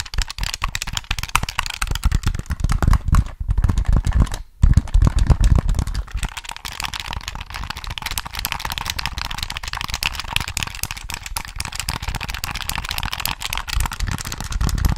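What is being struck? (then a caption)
Plastic game controller. Fingertips rapidly tap and press the buttons and triggers of a black, hollow plastic Sony PS3 game controller held close to the microphone. The result is a dense, continuous stream of short, dry plastic clicks and soft thumps with a heavy low-end body, briefly pausing just before the 5-second mark before resuming steadily.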